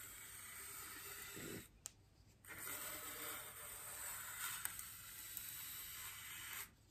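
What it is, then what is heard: Styrofoam ring being brushed. The bristles of a small paintbrush are brushed across a large, white, solid styrofoam wreath ring resting on a table. The result is a soft, bright, hissy scratching in two long strokes, separated by a brief quieter pause with a couple of faint ticks, before the brushing stops.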